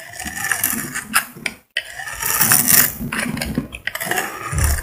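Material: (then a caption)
Soap. A solid cream-colored bar of soap with glitter is held in the hand and shaved with a metal utility blade. Dry, crackly scraping strokes rasp with a bright, gritty texture, broken by a brief silence partway through before the shaving resumes.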